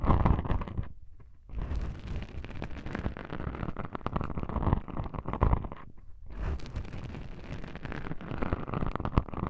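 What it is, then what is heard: Foam microphone windscreen being scratched. Long pink-painted nails scratch and rub two small black foam windscreen covers on a binaural microphone. The result is a dense, low, rumbling crackle of scratching, with two brief quiet gaps, and no speech.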